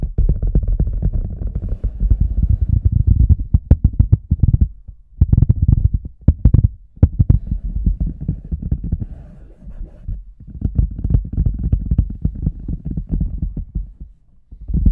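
Fingertips of both hands tap and rub the front and sides of a large, hollow, empty red rubber boot with a microphone inside. The result is a dense stream of deep, muffled thumps and low rumbling rubs centered around 82 Hz, with almost no bright content. Brief lulls occur near five and ten seconds.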